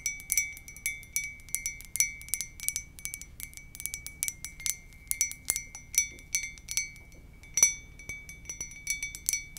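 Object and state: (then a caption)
Ceramic mug tapped with nails. Long nails tap the side of a hollow white ceramic mug with a lips print. Quick, irregular bright clinks each carry a short glassy ring, with a steady tone near 2.3 kHz and higher overtones, against a faint low background hum.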